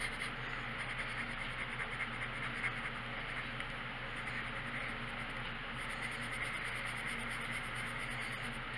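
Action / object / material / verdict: scrape / paper coloring book page under a colored pencil tip / paper / none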